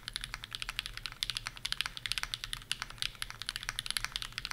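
A 65% mechanical keyboard, the Bear65 v2 with PureBerry switches on an aluminum plate and plastic keycaps, is typed on fast with the fingertips of both hands. It produces a steady run of about 31 sharp, bright clicks and clacks, each dying out almost instantly, with very little low end.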